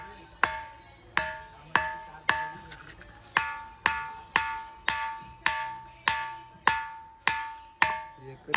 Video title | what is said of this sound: VLOG 18- khanderi la gelo khup majja aali 🏝️⛰️ | घंटा असतो तसा आवाज येतो